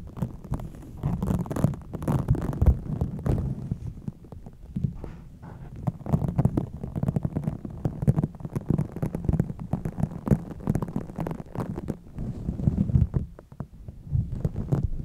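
A pink microfiber cloth held over a foam-covered microphone head is rubbed, pulled and scratched with fingertips and long nails. The result is a continuous low, muffled rumbling and scraping with dense, uneven bursts of friction and almost no high-end brightness.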